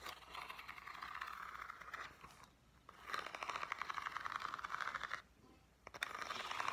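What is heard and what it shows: Long dark-painted nails scratch and tap the ribbed surface of a small, hollow, printed green corrugated cardboard box held in the hands. Rapid, dense scratchy tapping with a bright, papery mid-range texture comes in three stretches, separated by brief near-silent pauses. The result is a dry, close, crackling rasp with no ring after each stroke.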